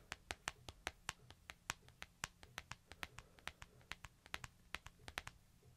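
Fingertips and nails tap and scratch across a small, flat, solid smartphone with a white back and a metal edge, held in the palm. Around thirty short, crisp, bright clicks land in a quick, uneven rhythm, each dying away almost instantly. A faint low hum runs steadily underneath.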